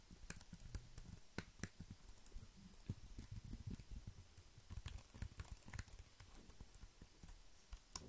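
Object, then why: Plastic computer keyboard. Fingertips press and tap the keys of a compact, hollow, black plastic wireless keyboard held up close. The result is a quiet, irregular run of short, dull clicks and taps with a soft thudding low end, occasional brighter ticks, and almost no ring after each touch.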